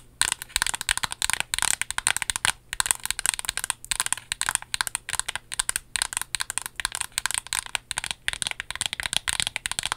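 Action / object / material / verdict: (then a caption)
tap / small paperboard box / cardboard / none. Long nails tap rapidly along the length of a small, slim, hollow pink and white printed paperboard lip product box. The result is a dense run of crisp, bright, clicky taps with almost no ring or low end.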